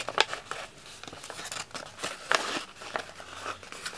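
A thin sheet of red patterned wrapping paper, already crumpled, is held close and squeezed and crumpled by the fingertips of both hands. Crisp, bright crinkling and crackling runs throughout, with sharper loud bursts near the start and around the middle, and almost no low end.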